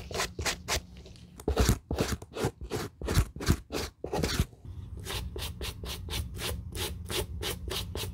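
A white bristle suede brush, held in a gloved hand, scrubs back and forth over the nap of an empty grey-brown suede leather sneaker upper. Quick, bright, rhythmic bristle swishes come faster and softer at the start and end, with louder, rougher scrubbing strokes in the middle. A low steady hum sits beneath them.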